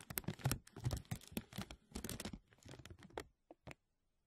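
Fingers and nails crinkle and scratch a thin, clear, embossed plastic vacuum-seal bag stretched over a mesh mic dome. Dense, irregular crackling and rustling with a low thumpy body and bright crisp edges fills most of the clip. It thins out toward the end, leaving two short isolated crinkles before falling quiet.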